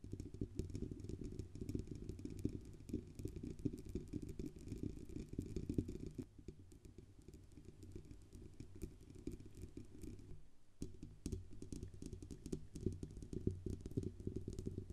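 Long nails tap rapidly on the band under the grille and the upper body of a silver Blue Yeti USB microphone with a hollow metal body. The result is a dense, uneven stream of quick, dry clicks over a low, hollow resonance, with the tapping softening around the middle and briefly stopping just past ten seconds before picking up again.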